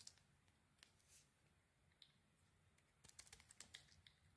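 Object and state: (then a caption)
Bar soap being scraped. A metal utility blade scrapes and peels the purple and silver striped coating off a solid, hand-sized bar of soap with a cream interior, held in hands with green nails. Quiet, bright, crisp ticks and scratches come in sparse bursts, with a brief longer scrape early on and a denser cluster of sharp clicks toward the end. Each sound stops almost instantly over a low, faint background hum.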